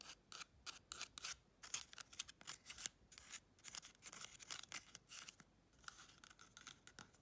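A small, hollow, empty brown cardboard toilet paper tube, held in the hand, is rapidly scratched and tapped with long red chrome nails. The result is a quick run of dry, bright scratching and tapping bursts with almost no low end and no ring, at a quiet level.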